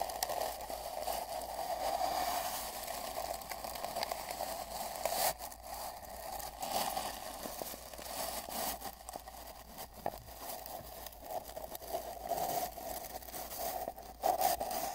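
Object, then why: Cardboard mailing tube. The bristles of a large paint brush are brushed across the middle and right areas of a long, hollow brown cardboard mailing tube lying on a bedsheet, heard from inside the tube. A continuous, scratchy rustling carries a hollow, boomy resonance around 700 Hz. It swells and fades with the strokes, with a few sharper scrapes near the end.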